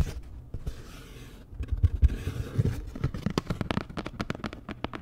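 Long nails scratch and tap a flat, postcard-sized printed cardboard Dior packaging card. A soft, dry scraping rustle builds into heavier scratching, then gives way to a quick run of sharp, dry taps. The sound is mostly low and dull, and each tap cuts off almost at once.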